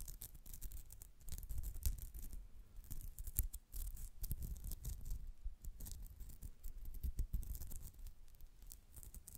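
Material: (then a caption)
Polyester mesh. Long nails scratch across the surface of a white polyester mesh cat-face pouch, which is held and slightly bent in the hands. The result is a steady run of quick, dry scratching strokes with bright, crisp edges over a deep, soft low rumble from handling.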